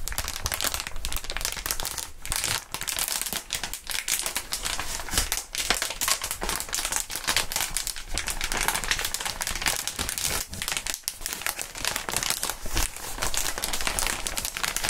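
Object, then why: Inflated plastic air column wrap. Gloved hands crinkle and flex a clear, inflated plastic air column cushion wrap sheet. The result is a dense, continuous stream of bright crinkling and crackling with quick, sharp snaps, and it stays steady throughout.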